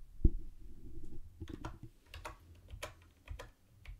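Fingertips type on a mint-green plastic typewriter-style keyboard with round white plastic keycaps and a hollow body. It produces a scattered run of short, dry keystrokes: a heavy low thump at the start, then hollow low knocks topped with bright clicks that stop almost instantly.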